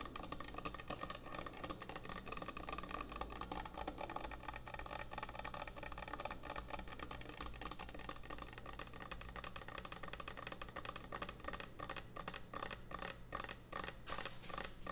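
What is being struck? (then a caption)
Thick end-grain wooden cutting board. Long nails tap fast across the surface of a large, thick, solid end-grain hardwood butcher block cutting board. The result is a dense, continuous stream of short, dry clicks with a bright edge, each dying away almost instantly, over a steady low hum.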